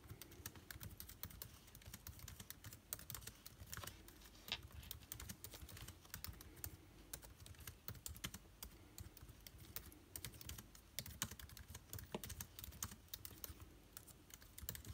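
Fingertips type continuously on an aluminium laptop keyboard with plastic keycaps, producing a steady stream of quick, light clicks. Each keystroke is short and bright with almost no ring, set over a soft low hum that runs throughout.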